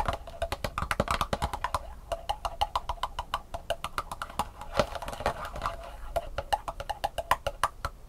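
An empty black plastic sushi takeout tray, thin and hollow-molded, is held tilted in one hand above a table with sugar crumbs and tapped on its raised compartments with long painted nails. Around 48 fast, irregular taps give sharp, hollow plastic clicks with a mid-pitched knock near 600 Hz that dies away almost at once.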